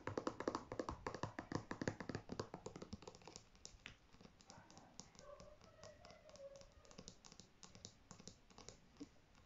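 Natural fingernails tap quickly on plastic shampoo bottles, making short, crisp clicks with a hollow knock. The tapping is dense and fairly loud for the first few seconds, then turns softer and sparser, with a faint tonal ring in the middle.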